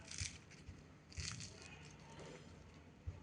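A freshly deep-fried spinach and gram flour pakoda is broken apart by hand, giving dry, crisp crackling bursts with bright crunchy texture and soft low thumps. The fritter is crispy and nicely hollow inside.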